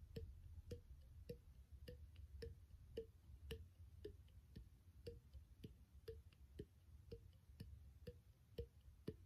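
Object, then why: Small clear plastic bottle. Fingertips tap the body and threaded neck of a small, empty, hollow clear plastic bottle with its cap off. The taps come at a steady pace, each a short, dry, hollow knock pitched around 430 Hz that dies away almost at once, over a low, continuous rumble.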